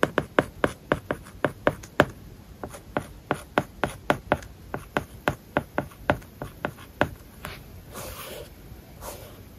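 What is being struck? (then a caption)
Plastic stylus on glass tablet screen with matte plastic film. A stylus writes Japanese and English words on an iPad screen covered with a matte, paper-like plastic film. About 28 short, dry taps and scratch strokes click out at a steady pace with a faint hollow ring around 600 Hz. The last second and a half turns to softer, breathier scraping strokes.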